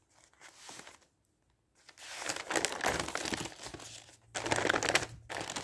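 Flat newsprint pages of a newspaper are rubbed with the palm and fingertips, then lifted and turned. Soft papery brushing gives way to louder, broadband crinkling and rustling bursts with bright crackle, separated by brief quiet gaps.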